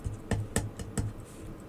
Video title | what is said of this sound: Crosman Pellet Pistol 1322 Steel Breach Installation | a little cheaper, a little more hollow feeling than this. You can even hear it when you tap on it.